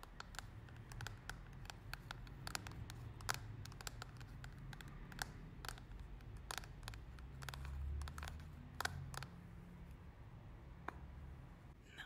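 Long nails tap the lid and sides of a small, round, clear plastic loose-powder compact holding pink powder. Many short, dry, bright clicks come in uneven bursts with almost no ring, over a steady low hum.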